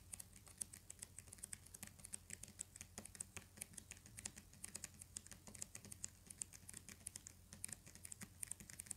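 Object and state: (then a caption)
Hardcover paper book. Fingernails tap quickly on the cover of a thick, solid hardcover book with a paper dust jacket. The result is a fast, steady stream of quiet, crisp clicks with a bright edge, each dying away almost at once, over a faint low hum.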